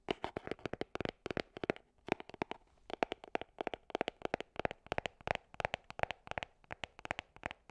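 Long nails tap and scratch a small, hollow gold cardboard perfume box held close to the microphone. The result is a rapid run of dry, crisp clicks with a hollow midrange knock and a bright edge. They come in quick bursts with a brief pause near the two-second mark, and each tap dies away almost instantly.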